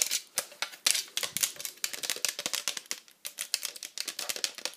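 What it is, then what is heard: Plastic tablet case. Long acrylic nails, on fingers wearing rings, rapidly tap the flat back and perforated edge of a hollow pink plastic iPad cover held in the hand. The taps come as a quick, irregular stream of crisp, bright clicks with almost no low end, each dying away instantly with no ring.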